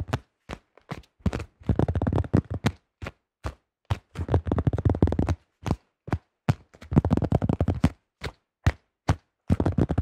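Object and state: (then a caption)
Plastic disc golf disc. Fingertips tap quickly on and grip a thin-shelled yellow plastic disc golf disc with a blue stamp. Short, dull, low taps come singly and in rapid dense bursts, with a soft rustle of gripping in between. Each tap dies away almost at once.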